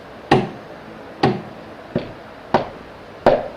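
Five knocks on a chair seat, each a short hollow knock with a quick decay, spaced unevenly across the clip. The seat's sound is different from the sound of knocking on the table.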